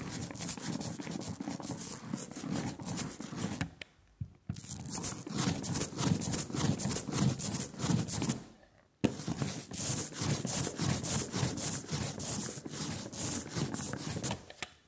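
A rubber brayer rolls quickly back and forth through a layer of sticky black printing ink on a glass slab, making a tacky, crackling rolling hiss with a low rumble and bright, sizzling high end. The rolling comes in three continuous stretches separated by brief pauses.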